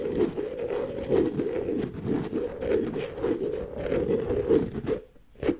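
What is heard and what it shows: Long nails scratch along the ridged edge of the red plastic lid on a medium white plastic tub. It makes a steady, dry, rasping scrape with a low-mid body, rising and falling in short strokes. The scratching goes quiet briefly near the end, then one more stroke follows.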